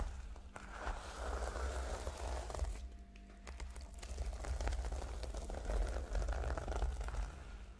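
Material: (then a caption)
Plastic sequins. Both hands scratch and tap the reversible plastic sequin cover of a flat notebook with long nails. The result is a dense, irregular patter of crinkly, crackling scrapes and soft taps over a steady low rumble, swelling and easing in loudness throughout.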